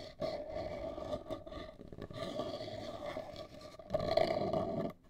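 Long acrylic nails scratch the front of a large, hollow, black printed cardboard cosmetic box held upright. The result is a continuous, raspy scratching with a steady hollow resonance around 645 Hz, which swells louder near the end before fading out.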